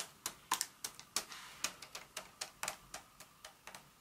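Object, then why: Paper-wrapped chocolate bar tapped with long nails. A solid Hershey's milk chocolate bar in its paper wrapper, lying flat on a mat, is tapped and scratched with the tips of long acrylic nails. About 18 sharp, bright clicks and taps are heard in an irregular rhythm, each dying away almost instantly, with faint papery scratching between them and almost no low end.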